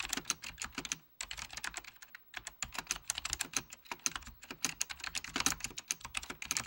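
Fingertips of both hands type rapidly on a full-size beige plastic Apple Extended Keyboard II with mechanical key switches, under red-blue lighting. Crisp, bright clicks follow one another in quick runs, with brief pauses around the first and second seconds. Each keystroke dies away almost instantly, leaving a dry, tightly clicking texture with almost no low end.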